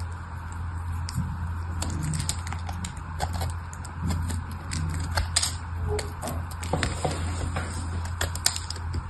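A small craft knife blade scrapes and shaves flakes off a hand-sized, solid red bar of soap, already partly carved and held in one hand. Crisp, bright scraping ticks and short shaving strokes come in quick, uneven bursts over a steady low hum.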